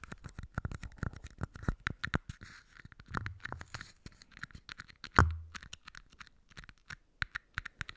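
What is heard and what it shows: Fingernails scratch and tap the sides and rims of two small empty red plastic party cups held close to the mic. The result is a quick, dense run of dry clicks and scratchy strokes, with a brief hollow ring around 1.5 kHz. One harder knock just past the five-second mark gives a louder, low, boomy thud before the tapping resumes.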